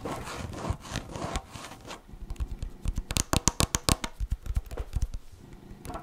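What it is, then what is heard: Plastic yogurt cup. A tall, hand-sized blue-and-white yogurt cup, likely plastic with a printed label and a lid that seems sealed, possibly full, is held in one hand and tapped and scratched on its side with long manicured nails. Dense scraping fills the first two seconds, followed by a run of short, dry, hollow-sounding taps with some bright clicking edges that die out almost instantly.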